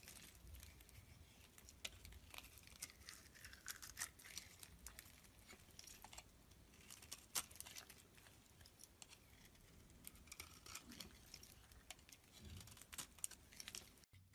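A thin metal blade scrapes and carves the surface of a solid, palm-sized green bar of soap held in one hand over a pile of white and green soap shavings. The sound is a quiet, steady, bright, dry scratching with crinkly, tearing-like textures and frequent sharp little clicks as the blade catches and flakes away shavings. A faint low rumble sits underneath throughout.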